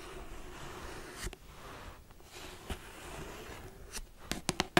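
Long acrylic nails scratch and tap the solid pink marble-print cover of a cardboard-covered hardcover paper daily planner. A soft, steady scratching runs underneath, broken by occasional sharp clicks that bunch into a quick run of taps near the end.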